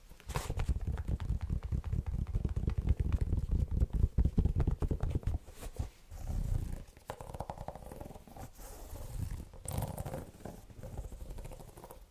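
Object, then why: Canvas and suede low-top sneaker. Fingertips and nails scratch and tap the side of an empty, dark blue-grey Vans-style low-top sneaker with a canvas and suede upper, white rubber sole and white laces, held in one hand. The result is a dense, low, rumbling scratch made of rapid, irregular taps that stays loud for about five and a half seconds. It then breaks into softer, separate scratchy bursts with a few brief bright rasps.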